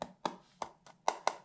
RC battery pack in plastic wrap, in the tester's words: a lipo should just be one solid mass all the way through